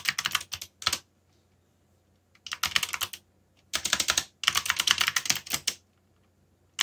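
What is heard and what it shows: Fingertips type on a backlit mechanical computer keyboard with plastic keycaps and hollow key switches. Rapid, bright clicking comes in bursts of quick keystrokes separated by short silent pauses. Each click is sharp and dies away almost instantly.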